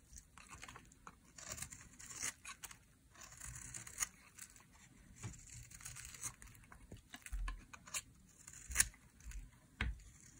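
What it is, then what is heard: Dry soap bar being scraped. A metal utility blade scrapes along the edge of a solid pink bar of dry soap, carving off strips. The result is a series of crisp, dry scraping and tearing sounds with bright, crackly detail, broken up by a few sharper cuts and short quiet gaps.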